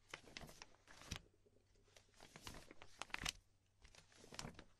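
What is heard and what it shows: Fingertips brush and flip through the edges of a stack of empty, thin, clear polypropylene binder sleeve protectors, with a magazine lying untouched beside them. Soft, bright crinkling and crackling of thin plastic comes in uneven bursts, separated by quieter pauses.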